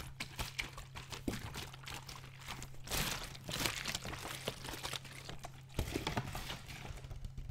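A large clear PET Vittel water bottle with a red cap and some water inside is held horizontally in both hands, squeezed and tilted. The plastic crinkles and crackles in quick, bright bursts while the water sloshes inside, with a louder swell of sloshing around the middle. A steady low hum runs underneath throughout.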